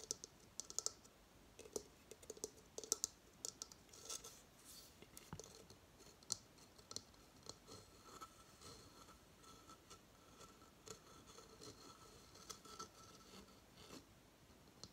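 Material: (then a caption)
Coconut shell. A hollow coconut shell hamster hideout is held in the hand and turned while its shell and base are tapped with fingernails. Quiet, bright, dry clicks and light scratches come in irregular bursts over a soft hiss, each tap dying away almost at once with no ring.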